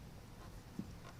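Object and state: Nothing is struck.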